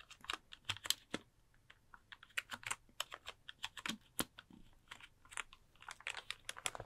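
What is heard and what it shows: Fingertips tap and type on the hollow plastic key caps of a full-size pink plastic computer keyboard held upright near the mic. The result is a quick, irregular run of crisp, bright plastic clicks, each dry and gone almost instantly, with very little low end and soft pauses between bursts.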